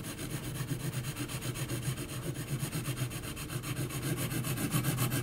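An HB graphite pencil held in the hand is scratched in hatching strokes across a large flat sheet of heavy 300 g textured mixed-media paper lying on a flat surface, with a pencil drawing of a face on it. A steady, rhythmic rasping scratch repeats at about four strokes per second, with a low, dull body under a bright, gritty hiss.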